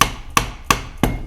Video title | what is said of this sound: Restauration d'un diviseur pour fraiseuse - Partie 1 | ça sonne creux ça ça vibre en tout cas il y a du mouvement